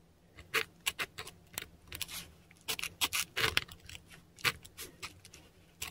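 A metal dip pen nib scratches and drags across a flat, textured Korean paper sheet while writing kana. The result is a quick, uneven run of short, dry, bright scratches and strokes with almost no low end and no ring between them.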